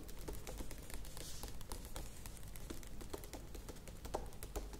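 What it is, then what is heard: Plastic yogurt tub tapped with nails. Long nails tap rapidly on the sides of a medium plastic yogurt tub with a lid, standing on a table. The taps are quiet, dry and clicky with almost no ring, each a short bright tick over a steady low rumble.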